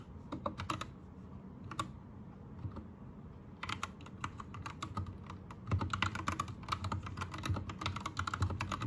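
Fingertips of both hands type on an Anne Pro 2 compact 60% mechanical keyboard with plastic keycaps, Gateron red switches and a teal backlight. Quick bursts of short, clacky keystrokes with low thuddy bodies and bright tops are followed by a sparse lull of a few taps. Then continuous rapid typing grows slightly louder toward the end.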